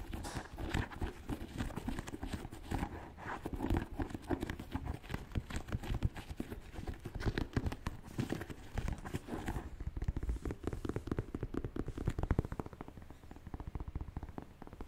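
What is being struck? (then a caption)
Leather and suede high-top sneaker. Fingernails tap and scratch the leather and suede side panels of a white, black and purple Air Jordan 1 Mid sneaker held in both hands. The result is a steady stream of rapid, soft, dull taps with low, muffled thuds, brief scratchy rubbing, and very little brightness throughout.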